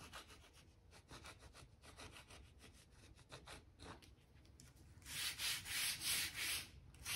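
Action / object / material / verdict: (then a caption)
scrape / oak plank floor / oak wood / none. A stiff-bristle brush with a blue handle is scrubbed along the gaps between the planks of a solid oak floor, brushing out dirt and dust. Quick, fairly regular strokes, about three per second, make a soft, bright scratchy rasp. In the last two seconds they swell into louder, broader hissing sweeps.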